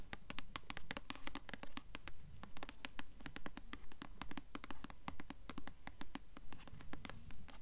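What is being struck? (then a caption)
Paperback book with glossy paper cover. Long acrylic nails tap and scratch the glossy paper cover of the paperback novel "Delirium," a solid book held upright in both hands. Quick, sharp, bright clicks come in a fairly steady rhythm over soft scratching and a low, dull rumble.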